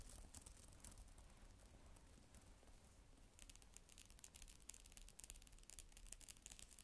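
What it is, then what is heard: Plastic keyboard cover being typed on. Fingers with long nails type on the plastic keys of a black plastic tablet type-cover keyboard, with an echo effect added. Soft, rapid, bright clicking taps sound over a low, steady rumble, becoming louder and more distinct about halfway through.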